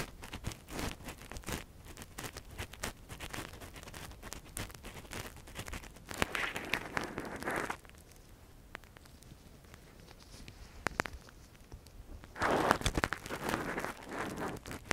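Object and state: Silicone ear microphone being scratched.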